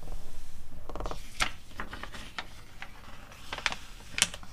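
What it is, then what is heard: Glossy paper catalog. Long acrylic nails tap and rub the pages of an open glossy paper magazine catalog, with some page turning. Sharp, bright clicks stand out over a soft papery rustle and a low background hum, each tap dying away almost instantly.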